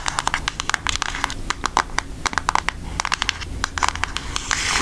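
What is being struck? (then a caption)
Cardboard makeup palette. A flat, rectangular, hollow and thin cardboard eyeshadow palette with a Hershey's milk chocolate design, about book-sized, is held up and tapped and scratched with long almond-shaped acrylic nails. About 26 quick, dry, bright clicks come in uneven bursts, with soft scratchy rustling between them over a faint low hum. Each tap stops instantly with no ring.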